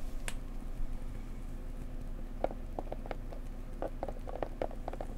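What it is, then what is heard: Decorative box tapped. A pretty blue decorative box is tapped gently up close with fingers. Soft, quick taps with a short, muted mid-pitched tone come in a loose run over a low, steady background hum.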